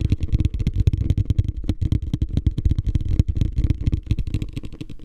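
A medium beige, hollow, empty plastic hotel ice bucket is held upside down in front of the face and tapped and scratched on its sides with fingertips and nails. The result is a rapid, uneven run of dry, hollow low thumps with crackly scratching between them and almost no ring after each tap.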